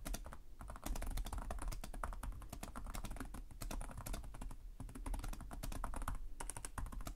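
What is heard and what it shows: Both hands type rapidly with their fingertips on the plastic chiclet keys of a black laptop with a hollow chassis. The result is a dense, steady clatter of short, sharp taps, each with a bright click over a low, hollow thump. The typing continues without pause throughout.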